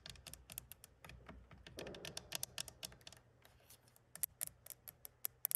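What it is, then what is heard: Glass car side mirror tapped and scratched with nails. Long acrylic nails tap and scratch the flat glass of an exterior side mirror set in a plastic housing on a classic Mercedes 200, with the hand resting flat on the mirror. Quick, bright, dry clicks patter in an irregular rhythm, and a soft scraping swell rises around the second mark. The clip ends with sparser, sharper taps that die away almost instantly.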